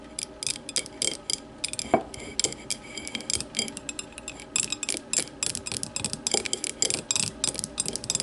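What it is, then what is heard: Glass tumbler. Long matte nails of both hands rapidly tap an empty clear glass tumbler turned upside down on a table. The result is dense, irregular bursts of bright, clicky taps that stop almost instantly, with a faint glassy ring near 670 Hz and very little low end.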